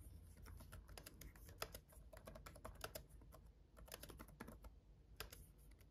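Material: Plastic.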